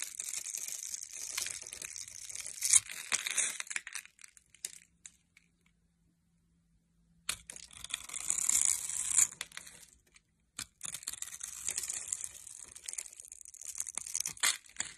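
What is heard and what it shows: A metal blade scrapes and cuts the scored surface of a solid rectangular bar of tan-brown soap held in the hand, and small soap cubes crumble off. Bright, dense crunching and crumbling comes in three bursts, separated by a long silent pause and a brief gap.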